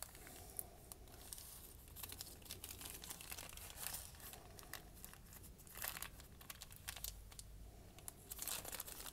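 A folded, crumpled sheet of white lined notebook paper, held in one hand with dark painted nails, is crinkled by the fingers. A dense, continuous crackle of bright, sharp rustles comes through, with louder bursts near the middle and end over a faint low rumble.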